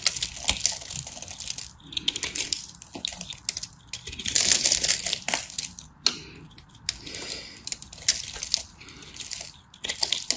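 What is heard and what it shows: A solid, dry teal and white striped bar of soap is cut and scraped into crumbly flakes with a craft knife. Bright, crisp scraping and crunching runs in bursts, with many sharp ticks as the flakes break off.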